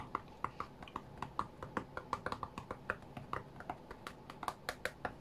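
Fingertips and nails tap quickly on the glass touchscreen of an iPad tablet lying flat on a cutting mat. The result is a rapid, uneven series of short, dry clicks centered around 1.1 kHz, with each tap dying out almost instantly over a faint low background hiss.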